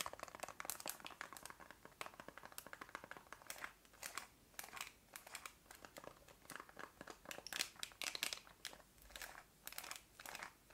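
Long nails tap and scratch the rubber buttons of a black plastic TV remote. Quiet, dense, bright clicks and scratchy crinkling patter rapidly throughout, with almost no low end and very short decays.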